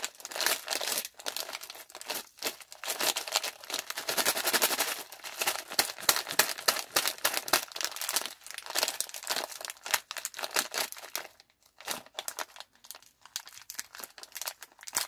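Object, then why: Plastic film candy bag. A small Skittles pouch made of printed plastic film and full of hard-shelled candies is crinkled and squeezed between fingertips with long painted nails while being pulled open at the top edge. The result is dense, bright, irregular crackling and crinkling with sharp little snaps, with almost no low end. The crinkling thins into sparser bursts toward the end.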